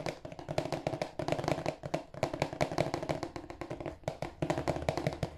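A rectangular, hollow, glossy marble-printed cardboard tissue box is held in both hands and tapped with fingertips and nails on its broad face. Quick, dense runs of dry, hollow taps have a boxy resonance in the mid range and a little low thump. Each tap dies away almost at once.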